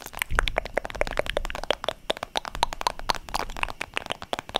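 Long nails rapidly tap a holographic vinyl zip makeup pouch held in both hands close to the mic. The result is a quick, steady stream of sharp, crisp clicks with a crinkly plastic edge and a bright top, over a soft low thump from the handled pouch. Each tap stops almost instantly.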